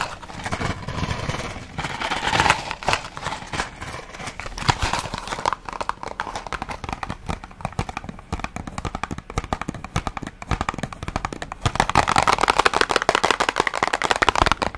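A small, hollow Kalms cardboard medicine box is held up and tapped quickly with long nails. The result is a rapid run of short, dry clicking taps with a hollow, papery ring around 1 kHz, growing denser and louder toward the end.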